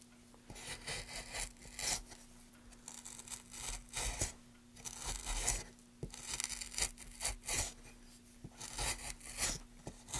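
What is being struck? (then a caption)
Wooden plank. A gloved hand pushes a gouge along a channel in a solid, light wooden plank, scraping off shavings in repeated strokes. Each stroke makes a dry, bright rasping scrape with short clicks where the tool catches or lifts off. A steady low hum runs underneath.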